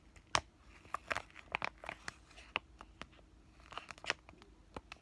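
A flat white laminated plastic-foil pain patch sachet is crinkled and scratched with fingertips and short painted nails. Dry, bright crackles and quick scratchy ticks come in irregular bursts, with a few sharper snaps standing out over a quiet background.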